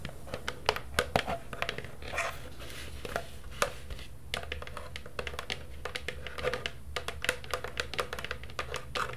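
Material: Plastic.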